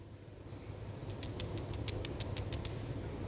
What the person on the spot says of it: ini enteng banget ni ada bunyinya nih